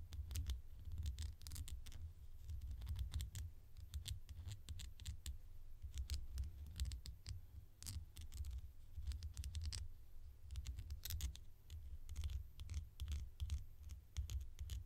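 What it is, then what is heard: Plastic bottle cap. A small, orange, hollow plastic bottle cap is held in the fingers and scratched and tapped with long nails along its ridged edge. The result is a steady stream of quick, dry clicks and scratchy taps over a low, muffled rumble.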